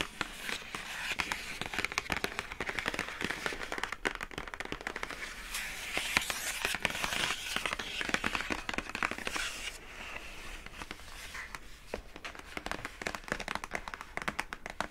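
Long acrylic nails tap and scratch the lid of a hollow, pink printed rigid cardboard product box with a rope handle, and then the box is lifted. Rapid, dry, bright clicks and papery scratching crackle continuously. The sound eases slightly around the ten-second mark before the tapping picks up again.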